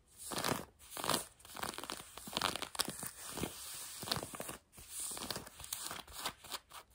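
A hand with long nails scratches blue denim jeans worn on a leg. Dry, rasping scratches come in quick, uneven bursts, bright and hissy with almost no low end, and each stroke stops short with no ring.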